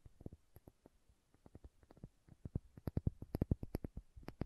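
Long nails tap and scratch the red plastic cap and label of a small, filled glass condiment bottle. Quiet, dull, short clicks come in an irregular patter with faint scratching between them. The taps are low and soft, with no ringing after each one.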